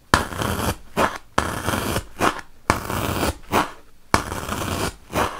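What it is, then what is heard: Melamine foam magic eraser. A wooden toothpick is poked repeatedly into a large, solid white melamine foam magic eraser block, producing dry, scratchy, broadband crunching with a bright, hissy texture. The sound comes in four sharp-onset, sustained crunches, each followed by a shorter, softer scrape before brief quiet gaps.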